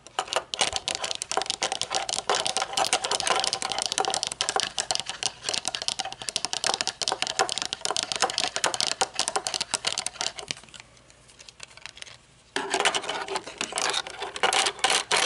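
Long nails rapidly tap and scratch the tinted lenses and metal rim of aviator sunglasses with dark lenses, first held upright and then lying on a table. Dense, bright, dry clicks patter almost continuously, quieting to a soft scrape around the eleventh second before the tapping resumes at full strength.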